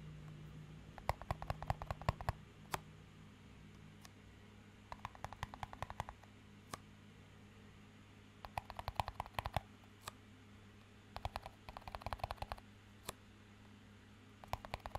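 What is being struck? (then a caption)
Small clear plastic cup. A small, empty clear plastic cup with a green band is tapped with the fingertips while being rotated in the hands. Quick, light, clicky taps come in bursts with short pauses between, each tap dying away almost instantly, over a steady low hum.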